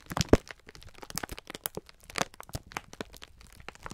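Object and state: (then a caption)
Plastic-wrapped pack of sponge scourers. A clear plastic-film pack of sponge scourers is held in both hands while the fingertips squeeze and rub it. The result is a dense run of sharp crinkling and crackling from the plastic. Soft, low rubbing runs under the brief crisp snaps, and there is a louder pop near the start and another at the end.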